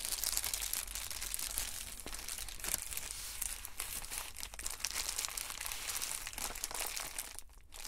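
An Amazon Prime poly bubble mailer, a flat, padded white and blue plastic envelope holding a package, is handled and pressed with fingertips and palms on a table. It gives a continuous, dense run of bright crinkly rubbing and crunching sounds with quick sharp crackles throughout.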